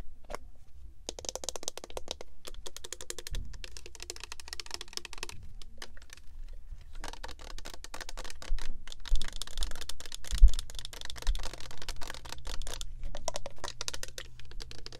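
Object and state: Plastic body spray bottle.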